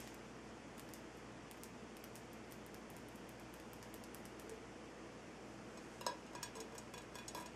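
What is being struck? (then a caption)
Large rock salt lamp. Fingers and nails tap and scratch the side of a large, solid, lit Himalayan salt rock lamp. Faint, quiet scratching clicks over a steady low hiss give way near the end to a few sharper, brighter taps that ring briefly.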